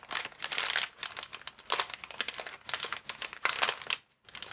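A transparent, air-filled plastic air column cushion bag with vertical air columns is lifted, bent and squeezed by hands. It gives dense, bright crinkling in repeated bursts, with a brief silence near the end before the crinkling resumes.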